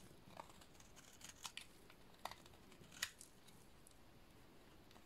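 A utility-knife blade shaves and cuts a solid white dry soap bar, making a series of short, crisp scraping snaps over a quiet, steady hiss. The cuts are bright and dry with almost no ring, and the loudest crack lands near the three-second mark.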